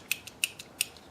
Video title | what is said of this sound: Lenox vs Kobalt vs Tekton folding utility knives NEW for 2020 | has a lot of give to it. I don't know if it's wore out